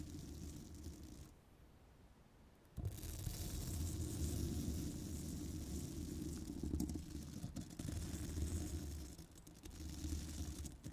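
A hollow woven steel microphone grille is scratched with a twisted-wire bristle brush held by long black nails. Dense, low, rumbling scrapes run steadily through the clip, dropping quieter from about 1.3 to 2.8 seconds before surging back louder and rougher.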